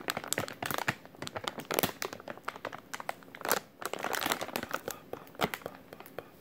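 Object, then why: Plastic film packaging pouch. A white plastic-film packaging pouch with printed text is held in both hands while the fingertips squeeze and crinkle it. The result is dense, irregular crinkling with sharp crackly bursts, bright and thin with almost no low end.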